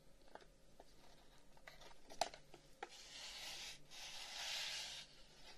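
A long, hollow wooden incense box with carved flower-pattern holes is held in both hands, turned, and tapped and rubbed with the fingers. Soft, quick finger taps and light scratchy rubbing sound over a faint hiss. A sharper tap stands out near the middle, and the clip ends in a steady, bright rubbing swell.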